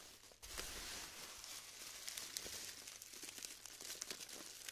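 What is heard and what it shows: Pink-nailed fingertips rub, crumble and break a large heap of small pastel styrofoam (polystyrene foam) balls glued together into dry, crumbly chunks in a round black tray, with loose beads falling back onto the pile. The result is a steady, bright crinkling and crackling texture dotted with sharp little snaps and pops, with almost no low end.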